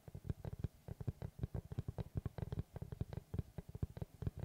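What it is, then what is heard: Wooden tree slice board. Fingertips tap and scratch the face of a large, round, solid wood tree slice with its bark edge on, held upright. Over 4.5 seconds, 29 quick, dull, low knocks sound with almost no ring, mixed with faint brushing scratches.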